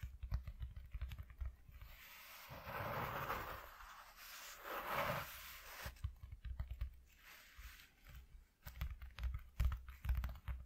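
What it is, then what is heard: Corrugated cardboard sheet. Fingertips with short nails tap quickly on a flat white corrugated cardboard piece lying on a dark cloth, making rapid, dull, low thumping clicks. In the middle there is a longer, softer rustling scrape across the cardboard, then the quick tapping resumes.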